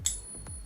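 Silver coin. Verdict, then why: Real. A silver coin is pinged with a Pocket Pinger tester, giving a single bright, high metallic ring with steady tones that sustain through the clip over a low background hum. The coin passes the test as genuine silver.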